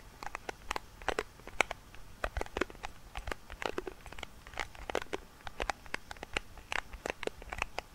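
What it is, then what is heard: Metal tin lid with plastic window. Fingertips tap and rub along the rim and clear plastic window of a round silver metal tin lid, held in both hands above the microphone. A quiet, irregular stream of short, dry clicks and taps comes through with a crinkly, crackling texture and bright edges. Each tap dies away at once with no ring.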